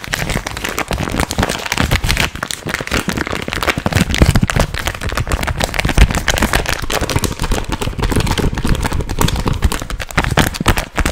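Hands quickly crinkle and crumple a small, soft, hollow gum packet made of green printed plastic film. A dense, continuous crackle runs for the whole clip with heavy low rumble underneath and quick bright snaps on top, staying at a steady level throughout.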